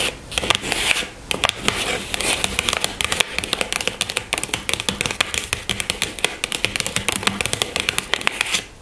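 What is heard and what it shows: Long nails tap and scratch the top of a small pink cardboard product box resting on a table. The result is a rapid run of crisp, bright clicks mixed with dry scraping, each tap dying away almost instantly.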